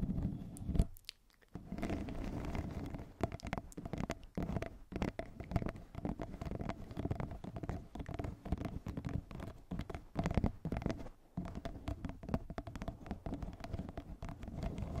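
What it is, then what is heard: Plastic pop tube scratched. A yellow corrugated plastic pop tube, hollow and ribbed, is wrapped around a fluffy microphone cover and scratched along its ribs with long nails. The result is a dense, continuous, low, muffled rasping crackle of rapid ridged clicks. There is a brief near-silent gap around the one-second mark.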